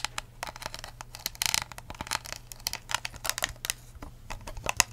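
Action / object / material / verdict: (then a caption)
tap / clear ridged plastic cup / plastic / none. A clear ridged plastic cup with a blue lid and a curly straw, hollow and empty, is held upside down and then sideways while long acrylic nails tap and scratch it. A quick, uneven run of sharp, bright clicks and brief scratchy rustles rises over a faint steady low hum. Each tap dies away almost instantly, leaving a dry, crisp texture.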